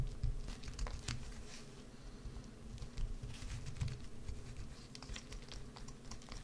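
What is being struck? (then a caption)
Bar of soap. A solid green bar of soap, held on edge, is scraped and carved with a wood-handled carving tool. It makes a soft, continuous patter of short scratchy strokes over a low, dull rumble, with brief bright ticks scattered throughout.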